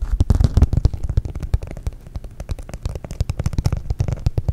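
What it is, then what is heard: Glitter foam heart. A flat, thin, solid pink glitter foam heart is held in both hands while fingernails scratch quickly across its textured glitter surface. The result is a rapid run of short, dull, low scratchy ticks with faint crackly edges, heaviest at the start and end.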